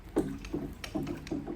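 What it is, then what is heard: Motorcycle fuel tank with liquid sloshing inside. Liquid sloshes inside the metal fuel tank of a 2007 Hayabusa motorcycle that sat for 14 years as the tank is shaken or tipped. About four or five low, thudding surges repeat in under two seconds. The tank still holds old fuel that won't pour out.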